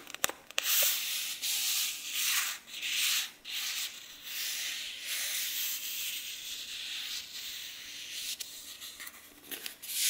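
Fingertips and nails rub and scratch across the paper pages of an open, handheld paperback book. Bright, hissy scraping strokes swell and fade one after another, with a few small ticks and almost nothing in the low range.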